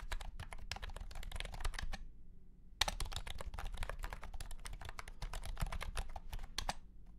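A white and pink cat-shaped keyboard, with round plastic keycaps in a hollow plastic case, is typed on with the fingertips of both hands. Rapid, sharp, bright clicks and clacks come in quick bursts, with a short pause partway through before the typing resumes. Each click dies away almost instantly.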